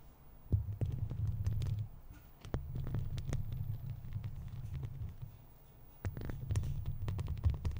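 Long plastic fake claw nails on both hands scratch across a hollow metal mesh microphone grille. This makes a deep, rumbling, throbbing scrape around 70 Hz, in bursts that rise and fall, with brief bright ticks scattered through it.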